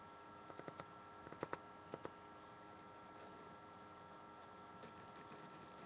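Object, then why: Paperback book, paper and card cover. Long painted nails tap and scratch the glossy card front cover and spine of a thick Harry Potter paperback, a solid paper block held in the hands. Quiet, dry, short clicks come in clusters over the first two seconds, with one faint tap near the end, over a steady low hum. The taps die away almost instantly.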